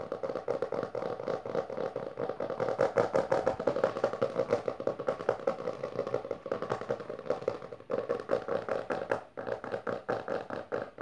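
Fingertips and long nails of both hands rapidly tap and scratch the textured maroon cover of a closed, solid hardcover book resting on purple fabric. The result is a dense stream of dry, short taps with a hollow midrange tone, mixed with scratchy rasps. The taps continue almost without a break, with brief lulls near eight and nine and a half seconds.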